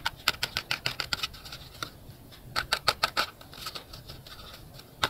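A small handmade hollow box of white paper or cardstock, with a drawn My Melody face and a lucky-colour chart, is held in both hands and turned and rubbed with fingertips and short nails. It gives a quick, uneven patter of dry, bright scratches and taps, centred around 1.4 kHz, with very short decays. The taps come in two busy bursts separated by a quieter stretch of soft rubbing, and a final tap lands at the end.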